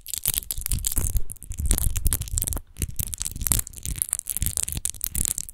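Long nails rapidly scratch the bumpy, rose-textured base of an empty clear glass wine bottle lying on its side. The result is a dense run of quick, dry scraping bursts with a low, thumping body and a bright, crackly hiss on top, broken by a few brief pauses.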